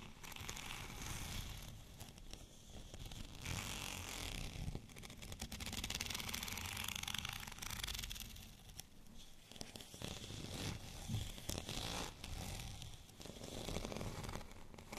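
Fingernails scratch along the bumpy surface of a white studded plastic rolling pin lying horizontally. The result is a steady, dry, rasping scratch with bright, crackly texture over a low rumble, swelling and easing in passes across the whole clip.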